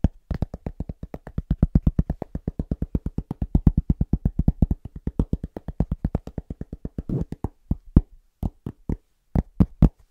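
A large, solid, round flat cork trivet held upright is tapped rapidly with the fingertips of both hands. Some 68 dull, low, dry thuds come in a fast, steady rhythm with almost no ring. After about seven and a half seconds the taps thin out into slower, scattered hits.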